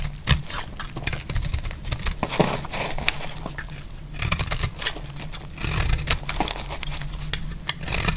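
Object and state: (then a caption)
Dry soap bar being shaved. A small metal utility blade scrapes and shaves curls off a solid, hand-sized bar of dry purple soap held in the hand, with soap flakes lying around it. Dense, crackly scraping runs throughout, with sharp bright strokes over a low rumble.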